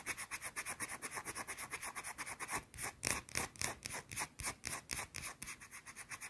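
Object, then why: Bar of soap. Long blue nails rapidly rub and scratch a small, round, flat, solid white soap bar held in the hand. About 26 quick, bright, dry scraping strokes come in an uneven rhythm, each one short with a high, hissy rasp and little low end.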